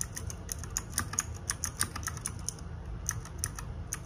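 Fingertips and nails type rapidly on a small RGB-backlit 60% mechanical keyboard with plastic keycaps. A quick, uneven run of sharp, bright clicks with very short decay sits over a steady low rumble.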